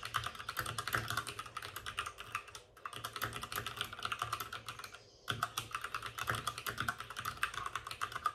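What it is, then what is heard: Plastic mechanical keyboard. Both hands type rapidly with their fingertips on the plastic keycaps of a white, backlit RGB mechanical computer keyboard resting on a desk with a padded wrist rest. The result is a dense stream of short, bright clicks and clacks, broken by brief pauses near 2.7 and 5 seconds before the typing resumes.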